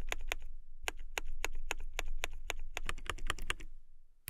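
Fingertips with long nails type on a transparent acrylic mechanical keyboard with clear plastic keycaps. A steady run of short, bright, clicky keystrokes comes in a quick irregular rhythm over a low background hum, with a brief pause early on and a burst of faster taps near the end before it stops.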